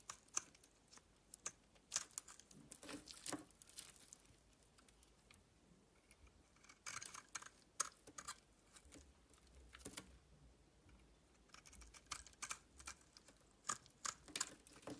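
A metal utility knife blade scrapes flakes from the exposed white surface of a solid red and white bar of soap held in the hand. The result is quiet, irregular bursts of crisp, bright scraping and crackling, with brief pauses between strokes and almost no low end.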